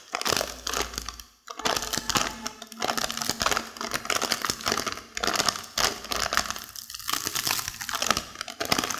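A plastic seaweed snack wrapper full of crisp seaweed is crinkled and pressed with long fingernails, and near the end the nails pick at its seal. The result is a dense, bright, continuous crackle of sharp plastic crinkles with faint crunching underneath, with a brief pause early on.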